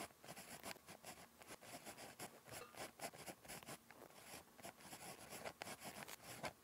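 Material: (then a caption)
Paper. A ballpoint pen tip scratches across a thin, flat lined paper notebook page in handwriting strokes. The result is a quiet run of dry, scratchy rasps with a bright hiss, each stroke short and broken by brief pauses.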